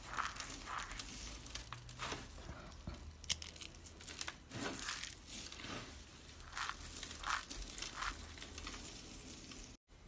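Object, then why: Soap flakes. Fingertips and palms scoop, squeeze and crunch a loose pile of small blue and green dry soap flakes resting on a paper surface. The result is a steady stream of dry, bright crinkling and crunching with quick crackly bursts and low rumbling handling noise, ending in a sudden cut to near silence.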